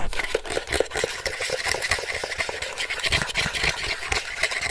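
Fingertips and nails tap and click on the surface and parts of a round, hollow white and silver plastic toy game with a red strap or tab, held close to the mic. The result is a dense run of quick, dry, bright plastic clicks and taps with almost no ring.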